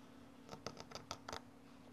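Metal scissors blades slice horizontally through a small solid cylinder of orange kinetic sand, and the slices fall off. Seven short, soft, gritty snips with bright crisp edges sound quickly one after another over a faint steady low hum.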